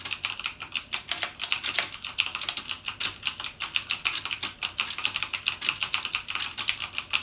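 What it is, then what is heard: Plastic mechanical keyboard. Fingertips type continuously on a backlit mechanical gaming keyboard with plastic keycaps and Cherry MX Blue switches. Roughly fifty quick, crisp keystrokes follow one another in a fast, steady rhythm. Each one is a sharp, bright click that stops almost instantly, with almost no low-end weight.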